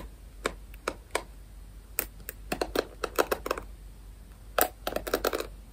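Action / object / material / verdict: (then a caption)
scrape / plastic paddle hairbrush with pin bristles / plastic / none. Fingers scratch and strum the pin bristles of a rectangular plastic paddle hairbrush close to the mic, making a run of short, dry, clicky taps with bright, crisp tops. The taps come irregularly over a faint steady hiss, some spaced apart and others in quick flurries near the middle and end.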